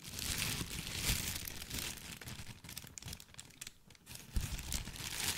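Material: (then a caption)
Paper. A thin white crinkly tissue paper sheet is twisted, bunched and crumpled in both hands close to the mic. It makes a dense, continuous crinkling and crackling with bright, hissy texture over a low handling rumble. The sound eases off briefly near the middle, then returns with a sharper crunch and keeps rustling to the end.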